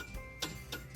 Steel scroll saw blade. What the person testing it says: it's very dull sounding and it's flexible you can move it very easily